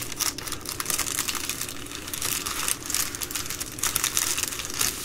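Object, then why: Poly bubble mailer, plastic film. An empty Amazon Prime poly bubble mailer lies flat while long green nails and fingertips fold, rub and scratch its plastic. A steady stream of bright, crisp crinkling and scratching rises into louder dense bursts, with a faint low rumble underneath.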